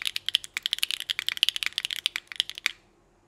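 Both hands type with their fingertips on a small Nuxros NR6 x VNMK mechanical keyboard with an aluminum plate, Hyacinth v2u switches and GMK Rainbow ABS keycaps. A rapid run of crisp, bright clacks centers around 3 kHz, with almost no low end and each stroke dying away instantly. The typing stops at about 2.7 seconds, leaving near silence.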